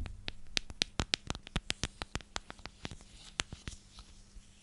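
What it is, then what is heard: Plastic storage container. A clear, hand-sized cylindrical plastic container with a purple lid is scratched and tapped on its sides with long nails. About nineteen quick, sharp, bright clicks come in an uneven run over a faint low hum, each dying away instantly with no ring. The taps are dense and loud at first, then thin out and grow softer.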